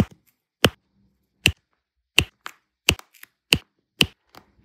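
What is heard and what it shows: A pink plastic multi-placer tool repeatedly taps and presses rows of small solid turquoise resin diamond-painting drills down onto an adhesive canvas. Seven sharp, bright clicks ring out at a steady pace, each dying away almost at once, with a few softer ticks in between.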